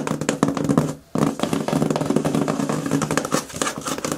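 Fingertips and long nails scratch and tap the top and front flap of a medium, closed, hollow corrugated cardboard shipping box. Rapid, dense taps and papery scratching carry a hollow, boxy resonance around 277 Hz. The sound breaks off in a brief silence near one second, then resumes just as busily.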